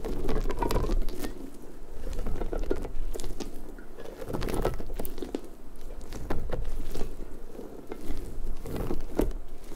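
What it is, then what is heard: Rubber puffer ball. Long nails scratch and rub across the soft spikes of a large, hollow, pink rubber puffer ball held close to the mic. The result is a steady, dense patter of crackly, rubbery scrapes, heavy in the low end, swelling and easing in waves over about ten seconds.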